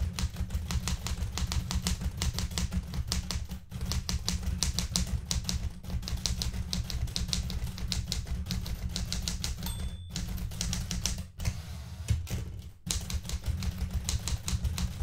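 Fingertips with red-painted nails type continuously on the plastic keys of a blue metal portable manual typewriter. Rapid, steady keystrokes produce crisp, bright clacks over a dense low thump, each dying away almost instantly. The typing runs nearly unbroken, with only a few brief pauses.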